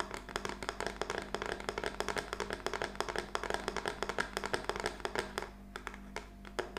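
Long fingernails of both hands tap rapidly and unevenly on a small, flat plaque of black-painted wooden craft sticks with a butterfly decoration, lying on a table. Each tap is a short, dry, clicky knock that dies away almost instantly, over a faint steady low hum. The tapping thins out briefly near the end before a few last taps.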